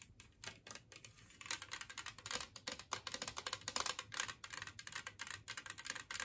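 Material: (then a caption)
Ceramic. Long nails rapidly tap and scratch across the glazed surface and raised edges of a large, flat, green ceramic Christmas-tree-shaped plate, empty and resting on a wooden table. The result is a dense stream of crisp, bright clicks and scrapes with almost no low end, each tap dying away quickly.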